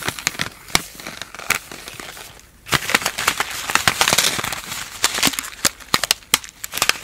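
A full, palm-sized sealed plastic and foil instant cold compress pouch is squeezed and crinkled between both hands using fingertips and long nails. The result is a dense, bright crinkling with sharp, crackly snaps and a brief quiet dip in the middle.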